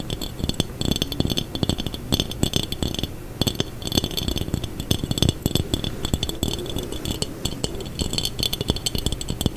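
A textured glass jar is tapped, scraped and rattled quickly. It makes a dense, continuous stream of short, dry clicks and clinks with brief scraping between them. There is a low, thuddy body, bright glassy highlights, and almost no ring after each hit.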